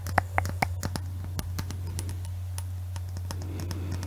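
Long fingernails tap a clear hollow glass Christmas bauble with an Eiffel Tower inside, held in both hands. Quick, irregular clicks and light scratches run over a steady low hum, and the first few taps ring briefly with a hollow glassy tone before the rest settle into dry, bright ticks.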